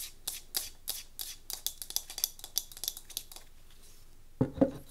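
A small solid light-wood cube tealight holder is held in both hands while long nails rapidly tap and scratch its grooved wooden faces. The result is a fast string of sharp, bright clicks and scratchy rasps over about three and a half seconds. After a brief pause, two louder, fuller knocks follow at the end.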